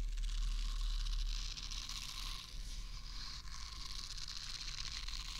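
Fingernails scratch and rub the soft bristle surface of a small, solid pink silicone facial cleansing brush held near a microphone ear and moved from the left side to the right. The result is a steady, rapid, fairly regular scratchy rustle with a bright hiss, over a low rumble that is strongest in the first second and a half.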